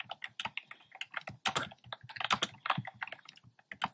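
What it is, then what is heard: Plastic keyboard typing. Fingertips with short nails type on a black plastic keyboard with hollow, round retro-style plastic keycaps in cream, pink and red. A fast, uneven run of short, bright, hollow clacks follows, each tap dying away almost at once.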